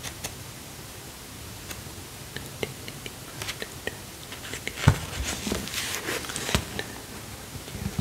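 A large, dark hardcover book with a cloth- or paper-covered board cover is held upright in one hand while the fingertips of the same hand tap and scratch its front cover. Soft, short taps and dry scratching sit over a low, faint whisper-like murmur, with the loudest tap near the middle of the clip.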